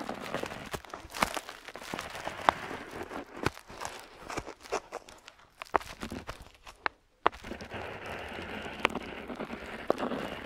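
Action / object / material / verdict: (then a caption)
scrape / metal pen nib on a paper sheet / paper / none. An ornate metal dip pen nib scratches across a flat paper map sheet on a table while drawing coastlines. Dry, crackly scraping strokes are broken by sharp little ticks, with a brief silent pause about two-thirds of the way through before the scratching resumes.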